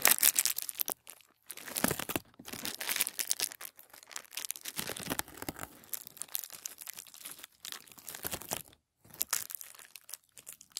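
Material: Paper.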